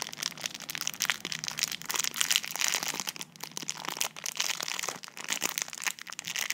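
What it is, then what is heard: Plastic film wrapper being crinkled. Fingers squeeze and crinkle clear plastic film wrapped around a slim tube held up close, while long nails scratch across the wrapper. The result is a continuous run of bright, crackling crinkles and sharp scratchy ticks with almost no low end, each crackle dying away instantly.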